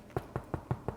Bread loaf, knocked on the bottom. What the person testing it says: if it sounds hollow, you know it's cooked all the way through and it's ready